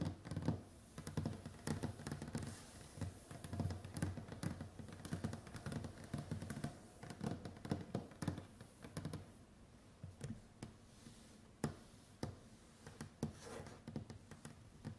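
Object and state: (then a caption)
Wooden tabletop tapped with fingernails. Both hands tap the tips of long white acrylic nails on a large, solid, varnished wooden tabletop. The result is a rapid, irregular patter of short, dry clicks with a low, dull knock beneath them and almost no ring. The tapping is dense for the first half, then thins to scattered, slightly louder single taps.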